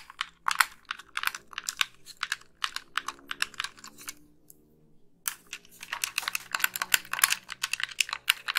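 Long nails rapidly tap and click the buttons of a white, hollow, wired plastic game controller. The result is dense bursts of short, bright plastic clicks that stop briefly just past the midpoint, then resume even thicker to the end.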